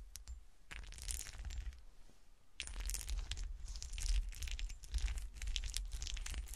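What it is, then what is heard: Textured glass shoe ornament being scratched. A small, solid, frosted textured-glass golf shoe ornament is held and then set upright on a table while long nails scratch its textured surface. Dense, bright scratchy bursts come in an uneven rhythm over a low rumble, easing into a quieter stretch around the two-second mark before resuming more strongly until the end.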